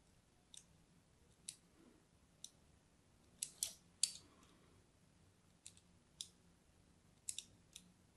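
A hand-held purple-and-white striped solid bar soap is scored with a small metal blade, making eleven short, dry scratch cuts at irregular intervals. Each cut is a crisp, bright crunch that stops almost instantly, separated by near-silence.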